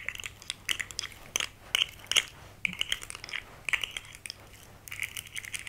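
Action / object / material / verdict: tap / segmented plastic fidget toy / plastic / none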